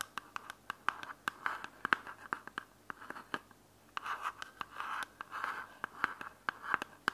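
Long nails tap and scratch a small white hard plastic charging case for wireless earbuds held in the hand. Quick, dry clicks mix with brief scratchy rasps, centred in a mid-high band around 1.5 kHz, and each sound stops almost at once.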